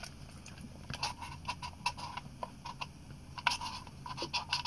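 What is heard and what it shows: An Olympus PEN EE, a small, hollow compact film camera with a chrome metal top plate and a leatherette body, is held in both hands and tapped and scratched on the top plate and body with fingertips and short nails. Quiet, short clicky taps with a hollow tone around 970 Hz and bright edges stand out over soft scratching, each dying away almost at once.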